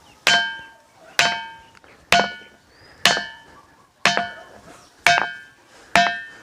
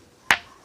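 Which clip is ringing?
The first.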